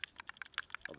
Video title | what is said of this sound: How to Build an ST-style Guitar Kit — Complete Assembly Guide | you shake it up for a minute after you hear the rattle of the can